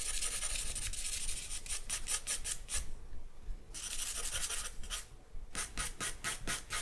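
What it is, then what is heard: Charcoal drawing on paper. A charcoal stick is scratched and rubbed across a sheet of white drawing paper, making dry, raspy strokes with a bright, hissy edge. The strokes come in quick bursts, pause in a near-silent gap about halfway through, then start up again.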